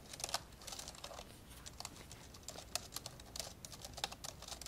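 Fingertips type on the plastic keys of an open, old dark grey plastic laptop, mostly with both hands. A steady run of quick, dry, bright clicks and taps sounds at a soft level, each stopping almost at once with no ring.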